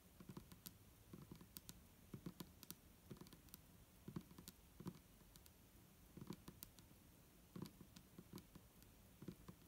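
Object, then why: Plastic bottle with liquid. An upright, hollow, clear plastic micellar water bottle with a green cap and liquid inside is tapped on its sides with the long nails of both hands. Quick, quiet, irregular clicking taps repeat throughout, each with a short dull low body and a bright sharp tick that dies away almost at once.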